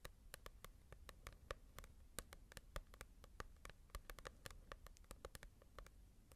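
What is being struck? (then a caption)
Glossy paperback book. Long nails tap and scratch across the glossy cover of a small, solid paperback manga volume. A quiet, rapid series of short, sharp clicking taps plays over a soft, low rustling scratch, with each tap dying away almost instantly.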